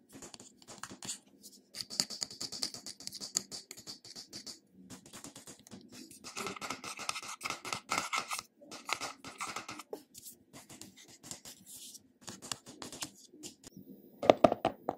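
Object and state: Glass cosmetic jar with metal lid.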